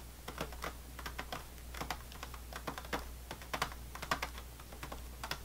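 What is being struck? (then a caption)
Plastic-wrapped sleeve of saltine crackers. Fingernails tap rapidly across the top of an unopened, plastic-wrapped sleeve of saltine crackers, making a quick, irregular run of crisp, clicky taps with a light crinkle. A steady low hum sits underneath throughout.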